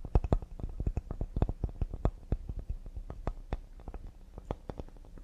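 Fingers tap quickly and delicately on a cedar wooden serving board. Each tap is a short, dull, low knock that dies away almost instantly, with a brief faint click on top, in a rapid uneven series with no lingering resonance.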